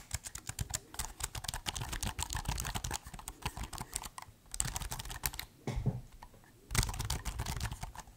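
Fingertips type and tap on the black keys of a silver metal or plastic laptop held open, producing rapid, crisp clicks with short, dry decay and a low thuddy undertone. The typing comes in quick bursts, with a brief pause near the middle and a quieter stretch holding a single soft thump before fast tapping resumes.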